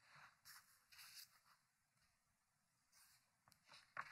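Fingertips lift and turn a page of a thick, open hardcover book with paper pages resting on a wooden table. Quiet, bright, papery rubs and flips come in short bursts, and a sharper, louder crinkle lands at the very end.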